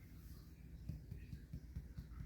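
A sourdough loaf baked in a regular cake pan is tapped on its browned bottom, giving soft, dull, low thumps with very short decay. It feels heavier and denser than the Dutch-oven loaf, but it sounds hollow, suggesting it is baked through.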